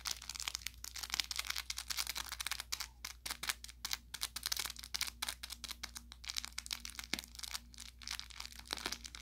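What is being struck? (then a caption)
Fabric plush toy with crinkly plastic filling. An orange velour plush carrot cat toy with crinkle filling, about 30 cm long, soft and stuffed with a SmartyKat tag, is held in one hand and squeezed and scratched with the fingertips and short nails of the other. Bright, dense crinkling and quick crackles come in rapid, uneven bursts. A faint steady low hum runs underneath throughout.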